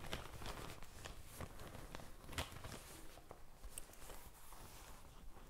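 A medium pink faux leather zippered pencil-case pouch with a gold zipper, hollow and soft-sided, is held close to the mic and tapped and scratched with long painted fingernails. The result is a quiet, irregular run of soft, muffled taps over a steady scratchy rustle, with most of the energy in the low end.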